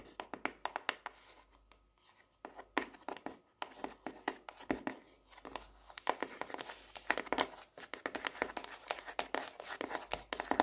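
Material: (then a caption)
Cardboard. Long nails tap rapidly and irregularly on the purple marbled hard cardboard cover of a small closed notebook with a solid paper block, lying on a desk. Each tap is a short, dry, papery click centered in the midrange with almost no low end and no ring. A brief lull near two seconds breaks the steady run of taps.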